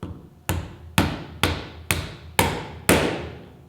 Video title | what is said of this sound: Hope Technology - How To - Pro 2 Rear | you may hear that there is a slight tone change when you're knocking it inside and that's when you know it's home